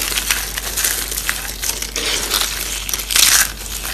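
Fingers crush and crumble a mix of dry blue and pink soap curls, making a steady, dry, crackling crunch that is bright and hissy with almost no low end. The crinkling runs continuously for four seconds and swells into a louder, denser burst near the end.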